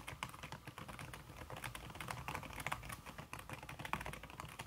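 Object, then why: Aluminium keyboard with silicone key cover. Fast fingertip typing, with red-painted nails, on a slim backlit aluminum keyboard whose keys are covered by a red silicone skin. The result is a quick, steady stream of soft, muffled key taps that barely ring. Each tap has a low thud and a brighter click near 1 kHz.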